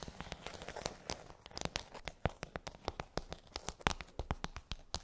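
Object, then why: Plastic tray with half-sphere domes. Long pointed nails tap and scratch across a pink plastic tray with hollow half-sphere domes. Rapid, sharp, clicky taps ring bright across the whole range and die away almost instantly, with a crinkly, crackling scratch filling the gaps between them.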